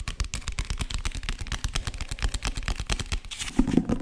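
A solid green hardcover book with gold lettering, held in front of a microphone, is tapped fast with fingertips and nails on its cover and spine. The result is a rapid, steady stream of short, dull, low-pitched taps with little ring, growing a bit louder near the end.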